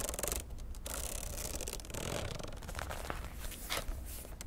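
Long nails tap and scratch the glossy laminated cardboard cover of a popsicle-print spiral notebook held in one hand. Dry, crisp clicks mix with bright scratchy rasps over a low steady rumble.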